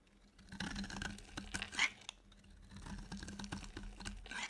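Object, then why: Soap bar scraped with a blade. A utility knife blade scrapes a solid, dry, white rectangular bar of soap into flakes. It makes dry, crisp, bright scratching rasps in short, uneven strokes over a faint steady low hum.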